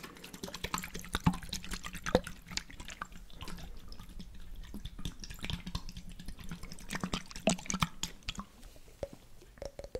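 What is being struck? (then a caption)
Glass jar with water and lid. A glass jar holding water, with a blue checkered lid, is turned and shaken while fingernails tap on the glass and the lid. Sharp, brief clicks and taps scatter over a soft sloshing of water, with a steady low hum underneath throughout.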